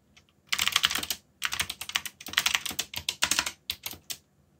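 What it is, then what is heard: Plastic mechanical keyboard. Fingertips type and rest on a backlit mechanical keyboard with plastic keycaps. The result is bursts of fast, bright, dry clacking with brief pauses between runs and very little low end.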